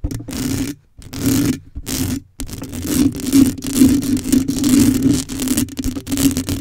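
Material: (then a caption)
Metal mesh. Long acrylic nails on both hands scratch the hollow metal mesh grille of a black microphone with no cover. The result is a steady run of close, raspy scraping with a bright, fizzy edge and a low tonal hum around 260 Hz underneath. The scratching comes in bursts with a few brief silent gaps early on.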